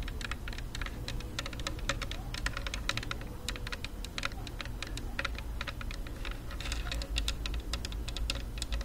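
A black, rectangular, hollow Bluetooth speaker of plastic and rubberized material is held in both hands and tapped rapidly with long nails. The taps come as a steady stream of sharp, crisp clicks over a low, steady hum.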